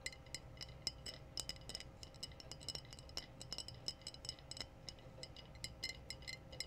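Long blue-painted nails tap the body of a clear glass wine bottle with a foil-capped neck, hollow and apparently empty. A steady run of quick, bright clinks rings out, each short and sharp with a high glassy tone, over a faint low background hum.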